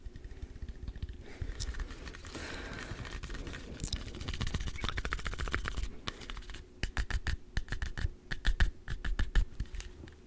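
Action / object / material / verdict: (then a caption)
scrape / whole green apple tapped and scratched with fingertips and nails / apple / none. A small, solid, whole green apple held in one hand close to the microphone is tapped and scratched with fingertips and short nails. Soft scratching and scraping come first, building into a denser rubbing texture. Then crisp, irregular taps with dull, low thuds take over.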